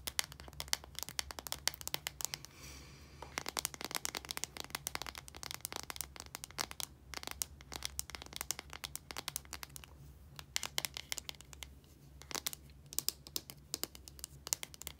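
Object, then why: Plastic deodorant stick casing. Long nails rapidly tap and scratch the casing of a small plastic deodorant stick with a translucent cap and solid deodorant inside while hands handle it. The sound is a dense run of short, dry, bright clicks with scratchy crinkling between them, over a faint steady low hum, with a brief softer scratching stretch near the start.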